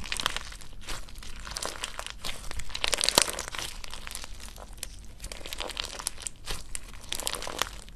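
A clump of clear orange slime full of gel water beads is held in two hands while fingertips and thumbs press, knead and stretch it. Dense, repeated crunchy squishes and crinkling pops sound throughout, bright and crackly with a soft low rumble underneath.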